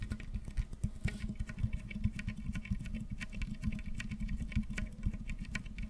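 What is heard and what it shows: Fingertips scratch the corrugations of a hollow, ribbed pink plastic tube that is held upright and then bent into an arch. The result is a quiet, rapid patter of dry, scratchy ticks, weighted toward a low rumble, with brief bright clicks that die away almost instantly.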